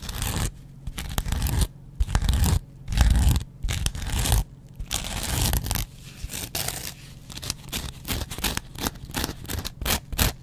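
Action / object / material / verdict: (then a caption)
scrape / cellulose kitchen sponge with scouring pad / cellulose foam / none. A hand-held, dry, hand-sized kitchen sponge of porous, soft yellow cellulose foam with a green abrasive scrub layer is scratched on its yellow foam side with a metal double-edge razor blade. The result is a run of dry, crunchy, tearing scrapes that come in short bursts separated by brief pauses. The bursts carry a heavy low rumble under a bright, rasping edge.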